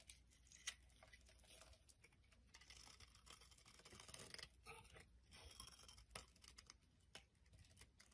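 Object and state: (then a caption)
Soap bar being shaved. A solid green soap bar held in the hand is shaved with a knife blade, and flakes pile up as it is scraped and carved. Quiet, bright, crackly scraping comes in uneven bursts with sharp little snaps, over a faint steady low hum.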